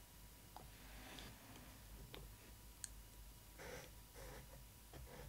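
Long nails tap and brush the clear plastic window over a Disney ily 4ever Stitch doll in its cardboard box. Quiet, sharp, bright clicks stand out among softer scratchy rustles over a low background hum. Each click dies away almost instantly.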